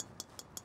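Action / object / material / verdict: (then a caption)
tap / golf driver head, metal face / metal / tinny. Three light taps on the metal face of a golf driver's XL head, set to 10.5 degrees of loft, give short, bright, tinny clicks with a high pitch that die away almost at once. The high-pitched, tinny sound comes from the face material, unlike carbon-faced drivers, and explains why this driver is so loud at impact.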